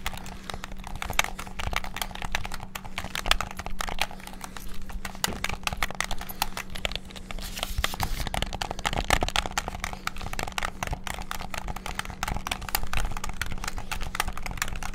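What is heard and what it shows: A white and black hollow plastic PS5-style gamepad is worked with rapid fingertip button and trigger presses. The result is a dense, continuous stream of short, bright plastic clicks and taps over a steady low hum.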